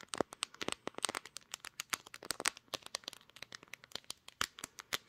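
Long nails tap and scratch the glass back of a pink smartphone, close to the camera lenses, while it is held in both hands and recording. Dense, bright, dry clicks and short scratches come in a rapid, irregular stream with almost no low end.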